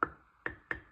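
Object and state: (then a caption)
Canning jar lid, sealed (less hollow). The metal lid of a glass canning jar of cherry compote is tapped three times to check its seal. Each tap gives a short, bright tick around 1.3 kHz that dies away almost at once. It sounds less hollow than the previous jar, a sign of a good seal.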